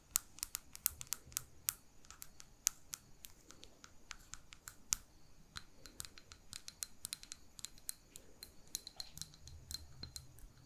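Long pink nails tap on a small glass jar holding a lit wax candle, with wax filling its lower half and a ribbon at the rim, while the jar is held in both hands. The result is a quiet, irregular stream of sharp, bright clicks that die away almost instantly, over a faint low rumble.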